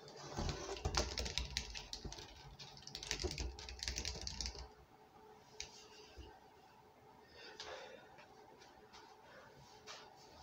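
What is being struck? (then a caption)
Plastic soda bottle. A large 2-litre plastic Coca-Cola bottle, hollow and full of dark soda with the cap on, stands on a stone counter while fingertips and nails tap quickly and unevenly on its side. For the first four and a half seconds, dull low thuds blend with bright clicking nail taps. After that, the tapping drops to a quieter, sparser patter of light ticks.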